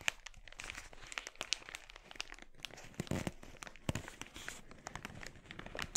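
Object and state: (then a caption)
Thin plastic mailer bag. An empty, glossy red, thin polyethylene mailer bag is bunched in both hands while the fingertips squeeze and crinkle the plastic. This makes a dense stream of sharp, bright crackles and snaps with very short decay, over a soft rustling bed. A few louder pops and a fuller crunch stand out near the middle.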